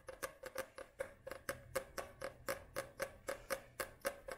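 Long nails tap and scratch the glossy card front cover of a paperback book held upright, making 19 quiet, crisp clicks at a steady pace of about two per second. Each tap is brief, with a dull tonal knock around 570 Hz, a bright papery edge and a short scrape between hits.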